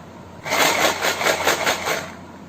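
A tin jar holding kidney beans is shaken, producing a bright, dry rattle of beans striking the metal walls in quick pulses for about one and a half seconds. The rattling then fades to quiet, and a short sharp sound cuts in at the very end.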